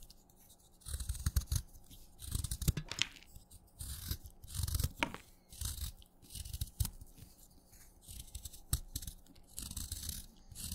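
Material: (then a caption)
Chalk. A craft knife cuts chunks off a solid wet yellow-green chalk stick held in the fingers, with crumbs falling away. Repeated short bursts of crunchy, gritty scraping and crackling carry a bright, crisp edge over a dull low thud, separated by brief quiet pauses.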